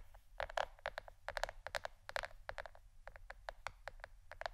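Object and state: Plastic board, fingernail tapping.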